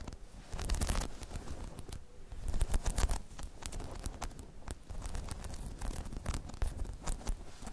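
Long chrome nails scratch across a hollow, dome-shaped spiky rubber balance pod, a balance hemisphere, producing a dense run of rough, rustling scrapes. The sound is mostly a low, muffled rumble, with quick bright scratchy streaks over it, and it keeps going steadily for the whole clip without clear pauses.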